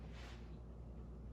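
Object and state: Nothing is struck.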